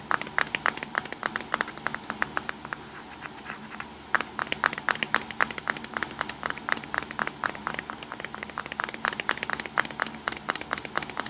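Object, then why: Plastic compact digital camera body. Fingertips and short nails tap quickly across the front and lens ring of a small, hollow black plastic Nikon Coolpix compact digital camera lying on a pink towel. The sharp, bright clicks fall in irregular bursts and die away instantly, with a brief lull near the middle before the tapping resumes.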